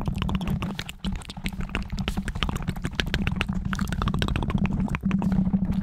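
Fingertips and short nails rapidly tap and scratch the top and sides of a black foam windscreen on a microphone. The result is a dense stream of quick, muffled thumps and scratchy rustles, heavy in low-frequency rumble, with only brief pauses near one second and five seconds.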